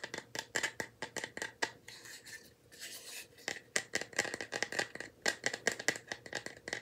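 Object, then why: Small bamboo wooden box. A small, light bamboo wooden box, possibly hollow with something inside, is held in both hands and tapped with fingertips and nails, giving about thirty quick, dry clicks with a bright, woody ring near 1.9 kHz. Around the middle the taps pause for a softer stretch of scratchy rubbing before the rapid tapping resumes.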